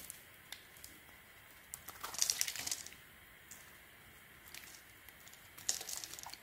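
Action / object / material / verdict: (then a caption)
scrape / bar of soap / soap / none. A small metal blade, held in a gauze-wrapped hand, scrapes and cuts curling shavings off the edge of a solid oval bar of light blue soap with blue swirls held in the other hand. Quiet, bright, crisp scraping and crinkling ticks sound throughout. Louder rasping bursts come in the middle and again near the end.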